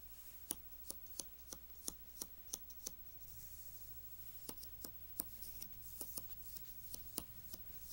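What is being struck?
Glossy paper magazine page.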